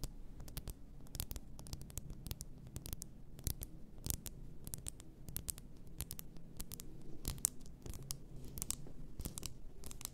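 Long nails tap and scratch the sides and upper glass of an upright, full glass bath salt bottle. The clip is a steady stream of quick, sharp, bright clicks and raspy scratches over a soft low rumble, each tap dying away almost instantly.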